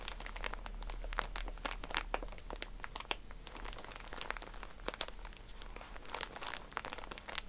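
Hands squeeze and crinkle a soft pack of cotton pads in a plastic wrapper. The result is a steady stream of quiet, dense crinkling with sharp, bright crackles and short snaps that die away at once, over a faint low hum.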